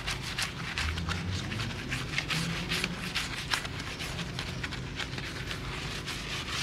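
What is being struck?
Pressed-steel car wheel.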